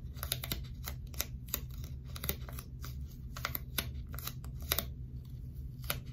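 A small piece of dark blue sticky tape, folded or stuck into a flat strip and held upright in one hand, is tapped and scratched repeatedly by long stiletto nails close to a binaural microphone. Quick, crisp clicks and brief scratchy crackles, bright and dry, sit over a steady low hum.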